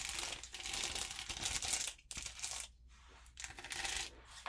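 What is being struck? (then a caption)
Acrylic rhinestones on an adhesive sheet. Long purple-polished nails tap and scratch across a flat rainbow sheet of small acrylic rhinestones on an adhesive backing, lying on notebook paper. The result is dense, bright clicking and scraping with short ringing, broken by brief quiet gaps near the middle.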